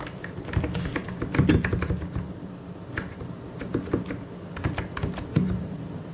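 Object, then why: Plastic mechanical keyboard. Fingertips type and tap on a full-size white and grey mechanical keyboard with plastic keycaps. A steady, uneven run of short, low, muffled clacks with faint bright ticks, each dying away quickly, with a few louder strikes standing out.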